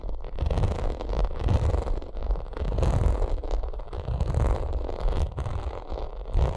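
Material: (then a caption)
Vinyl. Long nails scratch and tap a white, bumpy, padded and hollow vinyl makeup bag while fingertips squeeze it. The result is a steady, dense run of soft scratching, taps and muffled rubbing with a heavy low-end thump and little bright treble.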